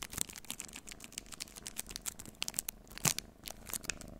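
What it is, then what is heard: Plastic-wrapped chocolate bar. A full-size, solid, unopened Snickers chocolate bar in its plastic wrapper is held in both hands and tapped and scratched with the fingernails. Rapid, bright crinkling and clicking taps come one after another over a soft, steady hiss, with each tap dying out almost instantly.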